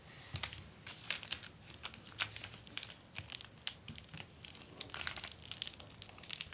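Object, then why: Plastic film sheet on paper backing. Fingertips and long nails rub, smooth and scratch a flat acetate plastic book cover sheet on its paper liner lying on a wooden desk. The result is quiet, bright crinkling in quick, short bursts with little low end, growing sharper and scratchier toward the end.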